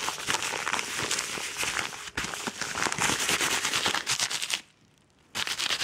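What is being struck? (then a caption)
Kraft paper padded mailer envelope. A yellow Amazon kraft paper padded mailer envelope, crinkled and hollow, gets fast, aggressive fingernail scratching and squeezing. Dense, bright crackling and crinkling runs almost continuously, then drops to near silence for about three-quarters of a second before the scratching resumes.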